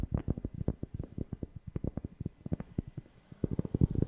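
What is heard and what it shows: A cork object is tapped close to a FIFINE K690 microphone, giving a quick, uneven run of about 27 soft, deep, bassy thumps that die away almost instantly. There is a brief pause near the end before a louder cluster of taps.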